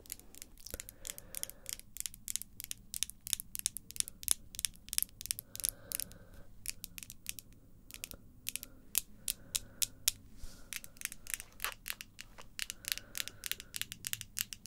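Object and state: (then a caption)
Acrylic false nails tapping together. Long pink acrylic false nails on both hands, small pieces of solid hard plastic, are clicked and tapped together nail on nail. Dozens of sharp, bright, dry clicks come in quick irregular bursts, each dying away almost instantly, over a quiet low background with faint steady tones.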